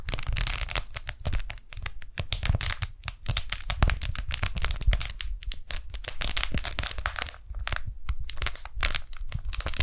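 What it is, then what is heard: Beeswax-coated cotton food wrap being peeled and crinkled. Fingers peel apart the sticky halves of a pink strawberry-print beeswax-coated cotton food wrap held close to the microphones, then pull it open and crinkle it. The result is a steady run of dense, sticky crackles and crinkles with bright, hissy highs over a heavy low rumble, broken by brief pauses.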